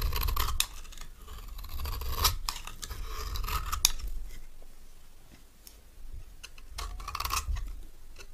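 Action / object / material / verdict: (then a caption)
scrape / bar of soap shaved with a metal knife / soap / none. A metal knife blade shaves thin curls off a palm-sized solid orange bar of dry retro soap held in one hand, the shavings falling onto a pile of soap flakes. Bright, crisp scraping strokes repeat at an uneven pace over a low rumble, with short sharp cutting sounds between quieter stretches.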